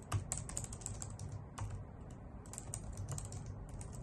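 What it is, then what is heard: Plastic computer keyboard. A white full-size plastic keyboard with hollow key caps is typed on with long nails and fingertips. Quick, irregular clicky taps with bright edges sound over a steady low hum, each tap dying away almost at once.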